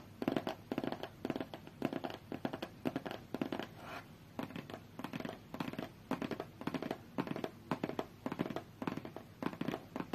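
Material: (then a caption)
Cardboard. A closed, hollow, medium-sized white cardboard Galaxy Tab A8 box resting on a fur rug is tapped and scratched with long fingernails. Quick, dry clusters of taps and scratchy strokes repeat in short rhythmic bursts, with a papery mid-range tone and little ring.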